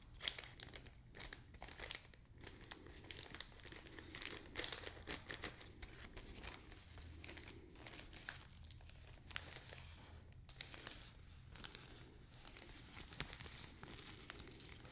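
A small, clear plastic zip-lock bag, empty after its sand was poured into the tray, is crinkled and folded between the fingertips of both hands. It makes a quiet, steady stream of bright, crackly crinkles with a few sharper crunches, over a faint low hum.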